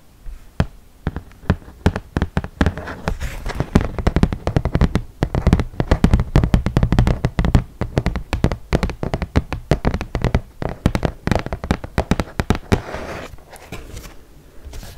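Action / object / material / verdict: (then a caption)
tap / flat cardboard game board / cardboard / none. A flat cardboard ludo board is held up close and tapped with long nails and fingertips. The result is a rapid, uneven flurry of dull, hollow taps with a deep thud in each. Bright nail clicks sit on top, and every tap dies away almost instantly.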